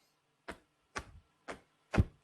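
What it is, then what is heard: Audible flapping eagle feather. An eagle feather is flapped hard four times close to the microphone, each stroke making a short, soft whoosh with a low thump, the last one the loudest. The feather's flapping is clearly audible.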